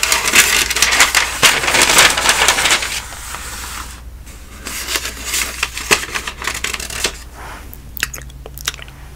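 Fingertips with long painted nails lift and flip the thin newsprint pages of a large, thick telephone directory lying open on a table. A dense, bright, crisp rustle of paper fills the first three seconds, then quieter rubbing and softer turns follow, with a few sharp flicks near the end, all over a faint low hum.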